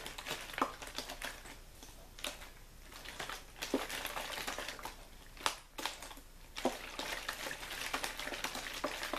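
A hand squeezes and crinkles an empty-looking, hollow clear plastic water bottle with a label. The result is a steady stream of bright, dry crackles and sharp snapping pops that come and go in irregular bursts, with almost no low end.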